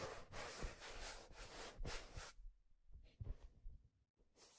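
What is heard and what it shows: A hand holds a black leather fedora by the brim and turns it, rubbing along the brim and crown. Soft, breathy rubbing swishes come in irregular bursts with faint low thumps, loud for the first two seconds, then quieter scuffs with brief pauses before a final swish.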